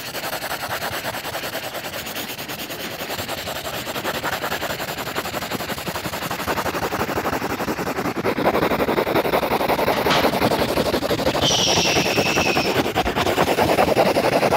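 A yellow crayon is rubbed rapidly back and forth across the page of an open lined paper notebook to fill in a circle. The fast scribbling makes a dense, steady, raspy scratching with about 220 quick strokes per minute, growing gradually louder over the clip.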